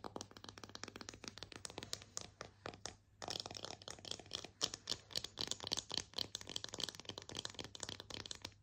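Long nails rapidly tap and scratch a solid, slotted bamboo kitchen spatula held in the air, producing a dense run of short, bright wooden clicks with scratchy bursts in between. The clicks pause briefly around the three-second mark, and a faint steady low hum sits underneath throughout.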